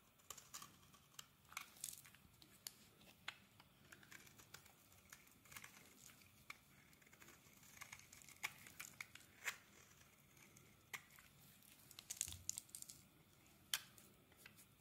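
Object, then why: Translucent glycerin soap bar. A metal blade scrapes flakes off a solid, translucent glycerin soap bar held in the palm. The result is a quiet run of crisp, bright, crackly scratches with short dry peaks and very little low end.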